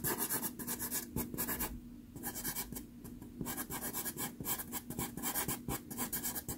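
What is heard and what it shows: A red pastel pencil, held close, is rubbed and scratched in short strokes over a small taped sheet of sanded Pastelmat pastel card. The result is a run of quick, dry, gritty scratching strokes with bright, hissy texture and a brief quieter pause near the two-second mark, over a faint steady low hum.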